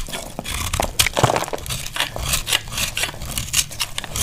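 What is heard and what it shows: A small knife scrapes and cuts into a solid, dry green soap bar held in the hand, shaving off crunchy curls. The result is a quick run of short, dry, crackly scrapes and crunches, bright and hissy, with little low end and almost no ring after each stroke.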